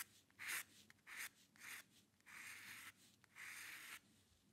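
A metal dip pen nib scratches across a flat sheet of white drawing paper while drawing hair lines. Quiet, bright, raspy scratches come in irregular bursts, some short and quick and others longer and drawn out, with near silence in between.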